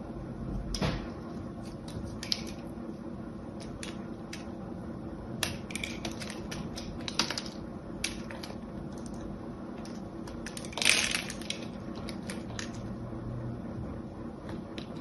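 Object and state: Soap bar being cut and scraped with a blade.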